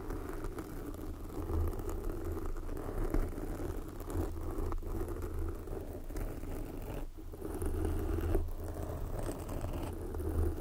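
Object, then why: Foam microphone windscreen. Long glossy black fingernails on both hands scratch and tap a soft, porous red foam windscreen covering a microphone. The result is a continuous, muffled rustling and scratching with a deep low rumble, dotted with soft, dull taps that fade almost instantly.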